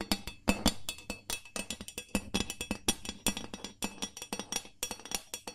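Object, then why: Carbon steel loaf pan. The flat bottom of an empty, hollow gold ribbed carbon steel loaf pan, held in both hands, is tapped quickly with long nails. Dozens of rapid, bright metallic clicks with a hollow low tone near 200 Hz come in uneven bursts. Each tap dies away almost at once.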